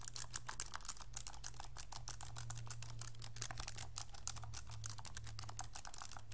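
Fingertips rapidly tap the plastic buttons of a pink, hollow, handheld plastic graphing calculator. The result is a quick, continuous stream of short, dry, bright clicks with almost no ring, over a steady low hum.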